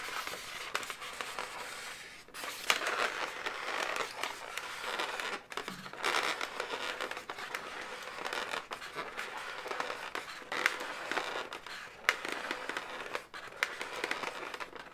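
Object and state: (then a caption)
Inflated latex balloon animal, hollow. Long nails scratch and tap an inflated, hollow blue latex balloon dog. The result is a steady, dense crackling and scraping with rubbery squeaks, centered in the mids and bright highs with almost no low end, swelling into louder bursts every few seconds.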